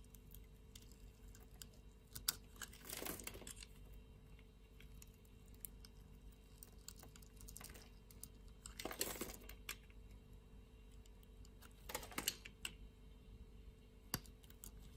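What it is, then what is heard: Soap bar scraped with a blade. A utility-knife blade scrapes cubes and slabs off a solid light-blue soap bar, making quiet, crisp scraping and crumbly crunching. Sparse light ticks run throughout, with longer bright rasping strokes around 3, 9 and 12 seconds.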